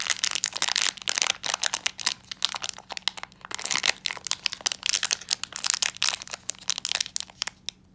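A small black metallized plastic foil blind bag holding a Frozen 2 pin is held in both hands while the fingertips crinkle and crush the foil. The result is a dense, bright run of sharp crackles and crunches with almost no low end, each snap dying away instantly.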